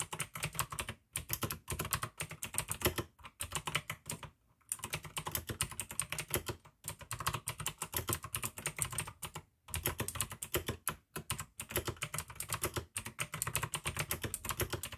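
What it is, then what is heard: Plastic mechanical keyboard. Fingertips of both hands type continuously on a full-size pink AUKEY mechanical keyboard with plastic keycaps and clicky blue switches. Rapid, bright clicks run in steady bursts with brief pauses between runs. Each click is sharp and short, with little ring.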